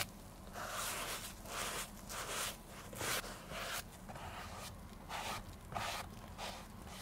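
A grey sponge is rubbed over the upper of a vintage women's black leather oxford shoe, hollow and empty and held in bare hands, to clean and restore it. Repeated breathy, bright scrubbing swishes rise and fall at an uneven pace, about one and a half per second, over a faint steady low rumble.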